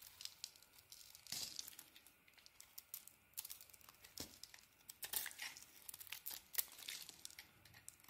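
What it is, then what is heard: Bar of soap being carved. A purple and cream solid bar of soap, held in the hand, is scraped and carved with a blade as shavings pile up. The audio is quiet, dry, bright scraping and crinkly shaving, with many short strokes and a few louder, sharper cuts.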